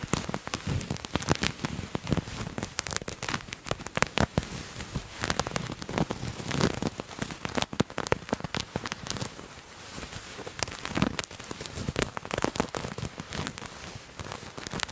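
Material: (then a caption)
Fabric. A purple-and-white patterned fabric garment is bunched in both hands while fingernails scratch and crumple the cloth. Dense, dry crackling and rustling scrapes overlap in quick bursts, with bright, sharp edges over a soft low rumble.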